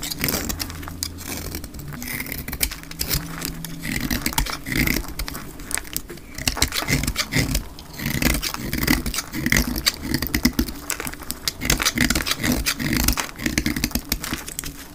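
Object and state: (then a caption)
Dry soap bar being cut. A metal utility blade cuts along the edge of a solid dark green bar of hard, dry soap held in the hand, shaving off flakes. Dense, crisp scraping and crackling strokes repeat throughout, bright and dry with almost no ring, over a faint steady low hum.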